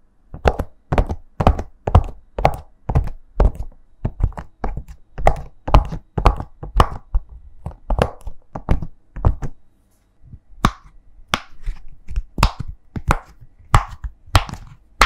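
Soft, dull pops as a fingertip and then thumbs press the hollow bubbles of a thin, flat, heart-shaped rainbow silicone push-pop toy, first lying on a white surface and then held in both hands. About two presses per second land in a fairly steady rhythm, each a short, low thunk with almost no ring, broken by a brief pause near the ten-second mark.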